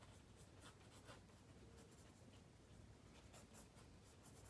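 A black mechanical pencil draws line strokes on a spiral-bound paper sketchbook page resting on a wooden table. It makes a soft, light scratching that comes in brief bright bursts over a low, steady hum and stays quiet throughout.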